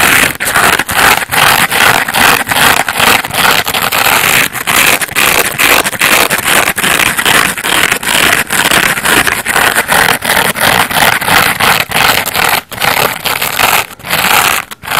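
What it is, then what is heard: Foam bath sponge being scratched. Fingernails scratch repeatedly across the bumpy yellow surface of a hand-sized layered foam bath sponge made of solid porous foam, held in the other hand. Dense, bright, hissing scrapes with many short dips between strokes continue throughout.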